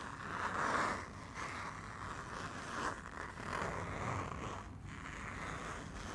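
Fingertips work the top zipper of a small printed fabric pouch with a Barcelona picture back and forth while it is held upright. Soft, steady zipper rasps rise and fall in a band around 1 kHz over a low rumbling hiss, with no clear gaps between strokes.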